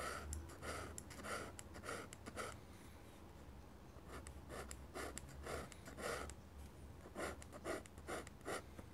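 A fine pen nib held in the fingers scratches lines and lettering onto a large flat sheet of white drawing paper mounted on a board. Short, soft, scratchy strokes come in quick bursts over a low steady hum, with a quieter stretch in the middle before the strokes pick up again.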